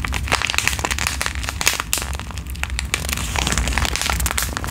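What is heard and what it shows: A flat, filled pink foil-and-plastic sheet mask sachet is crinkled and scratched with long nails. The result is a steady run of dense, bright crackles and crinkles over a constant low rumble, with no pause across the clip.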